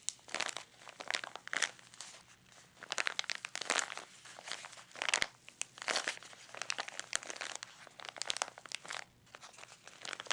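A small, hollow, clear plastic blister pouch with a cardboard insert holding a facial mini scrubber is held in both hands over an open pink gift box and crinkled and rubbed with fingertips. Dense, bright crinkling and crackling come in irregular bursts with short, dry snaps and quieter rustling between them. A faint low hum sits steadily underneath.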